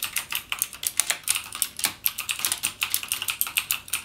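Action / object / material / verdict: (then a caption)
tap / plastic mechanical keyboard / plastic / none. Fingertips type rapidly on a backlit mechanical gaming keyboard with plastic keycaps and Cherry MX Blue switches. About 25 sharp, bright clicks come in a quick, uneven stream, each dying away almost instantly with almost no low end.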